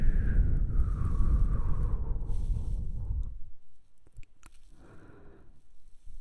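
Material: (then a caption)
Styrofoam. A solid white rectangular styrofoam block, held up by the face, is tapped and rubbed with the fingertips. It opens with loud, deep rubbing and a squeaky, slowly falling whine, then drops to near quiet with a few sharp, dry taps and a last stretch of soft rubbing.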